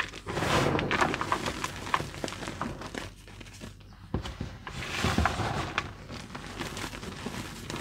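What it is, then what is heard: Loose gym chalk powder. Bare fingertips dig into a mound of soft white crushed gym chalk (magnesium carbonate) powder in a blue container, squeezing it and letting it crumble through the fingers. Soft, powdery crunching and crackling runs throughout, louder in two bursts near the start and around the five-second mark, with a quieter lull in between.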